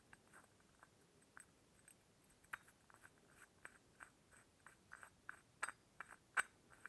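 Fingertips work the lid and top fitting of a small hollow brass ornamental oil lamp held up close. They give a quiet, irregular series of light metal clinks with soft rubbing between them. The short clicks sit around the 1.5 kHz range with bright upper sparkle, and a few near the end are sharper.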